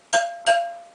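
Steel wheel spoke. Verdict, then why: Tight. A steel spoke on an RM125 motorcycle rear wheel is tapped twice with a wrench. Each tap gives a clear, bright metallic ping with a steady ringing tone that fades over a fraction of a second. The spoke is judged good and tight.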